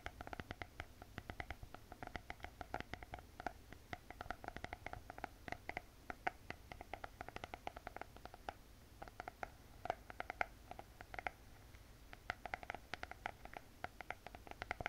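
Long painted fingernails tap and scratch across the glossy hard cardboard cover of a closed spiral notebook. Quick, dry clicks with a mid-pitched, papery tone repeat in rapid irregular bursts over a soft scratchy hiss and low rumble.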